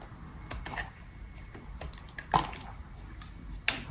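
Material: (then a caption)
Soap. A metal utility blade carves chunks off a solid, peach-colored dry bar of soap held in the hand. Soft, irregular scraping cuts give way to a few sharper, crisp snaps as pieces break away, the loudest near the middle and the end. Each cut stops dry with almost no ring.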